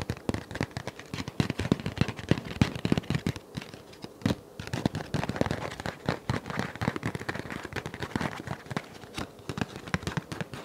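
Fingernails and fingertips tap, scratch and handle a flat dark paper envelope held in both hands close up. The result is a steady stream of rapid, crisp taps and papery crackles that stop short with almost no ring. The sound is weighted toward a soft low thump, with light scratchy highs between the taps.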